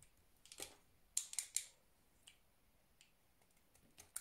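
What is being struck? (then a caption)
Bar of soap cut with a knife. A solid pink soap bar held in the hand is scored and chipped with a utility knife. Seven short, crisp cutting and scraping scrapes sound, bright and high with almost no low end, with three sharper cuts bunched together in the middle. Each sound stops quickly with no ring.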